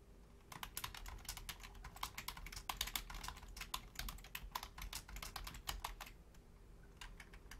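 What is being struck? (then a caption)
Plastic membrane computer keyboard. Rapid key taps on a full-size black plastic Logitech membrane keyboard with a hollow housing, typed with the long fingernails and fingertips of both hands. Quick, bright clicky clacks come in uneven bursts over a low steady hum, each tap dying away almost instantly. The pace thins out briefly around the sixth second before a few more taps close the clip.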